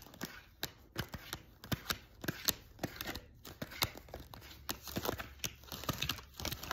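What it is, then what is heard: Paper card deck being shuffled. A deck of thin paper tarot cards is riffle-shuffled by hand over a sequin pillow, the two halves interleaved and flicked together while fingertips and nails run along the card edges. The result is a quiet, steady stream of sharp, bright paper snaps and clicks over a soft crinkling rustle, with short dry ticks that stop almost instantly.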